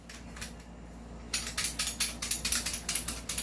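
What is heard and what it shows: A non-upgraded M14 Socom Wood Edition airsoft rifle is shaken, and its loose metal outer barrel rattles. After about a second of low hum, a quick, uneven run of sharp, bright clattering bursts fills the rest of the clip. The rattle shows that the outer barrel is not fixed in place, unlike on the upgraded rifle.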